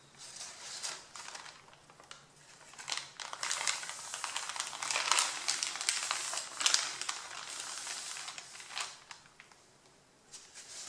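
Both hands press, rub and crinkle the top sheet of a pile of white printed paper. Soft, bright crinkling and crackling rustles come in irregular bursts, swelling louder in the middle and fading near the end. The sound is almost entirely high-pitched, with no low end.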